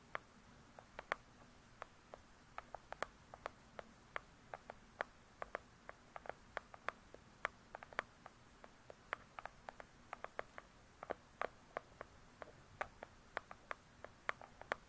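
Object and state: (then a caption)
Hardcover book tapped with fingernails. Long pointed acrylic nails tap and scratch fast on the glossy paper-covered cardboard cover of a large, solid hardcover book lying flat. About 57 quiet, dry, sharp clicks ring out, centered around 1.1 kHz with bright edges and almost no ring. Soft scratching and a faint low hum fill the gaps between them.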